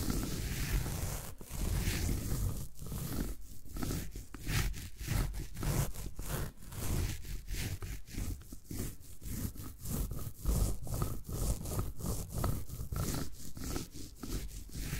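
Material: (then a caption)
Floral foam. A needle roller tool is rolled and scraped across the top surface of a solid green floral foam brick. It makes a steady, crunchy, rasping scrape in quick repeated strokes, heavy in low rumble with faint bright crackle and almost no ring after each pass.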